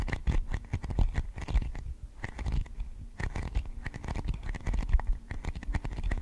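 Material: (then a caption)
Plastic. Long decorated acrylic nails tap and scratch across a thin, transparent, hollow plastic container lid or dome, about hand size, held in front of a microphone. Rapid, dense, dry clicks and scraping come in quick bursts with a brief quieter pause near the middle. The taps die away almost at once, with a heavy low thump under each one.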